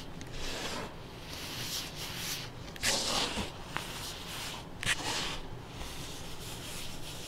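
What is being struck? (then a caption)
Packed baking soda powder clumps. Latex-gloved fingers squeeze, crush and rub crumbly clumps of pale pink-tinted baking soda powder packed in a container, while loose powder sifts down through the fingers. A steady, bright, gritty rubbing and crunching runs throughout. Sharper snaps and pops stand out where the clumps break, especially around the third and fifth seconds.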